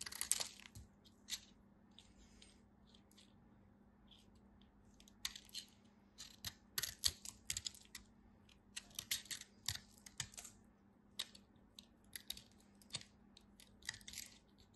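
A utility knife cuts and scrapes a piece of white bar soap, producing brief, crisp, bright crunching and scraping bursts. They arrive in irregular clusters with quiet pauses between them, over a faint steady low hum.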